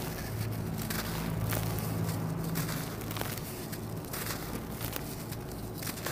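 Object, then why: Lump of red sand-cement in loose powder. Bare hands and fingertips squeeze a small, solid lump of dried red sand-cement resting in a bed of loose powder, breaking it apart until it crumbles into dust. Dry crackling, gritty crunches and brief bright snaps ride over a low, steady hum, and metal bangles may be heard as the chunk gives way.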